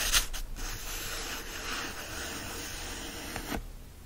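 Fingertips rub and scratch the printed paper pages and fanned page edges of an open hardcover book. A steady, bright, papery scratching hiss runs for about three and a half seconds, with sharper scrapes near the start and just before it stops, then fades to faint quiet.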